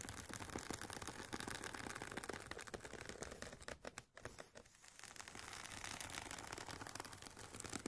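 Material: Nylon fabric.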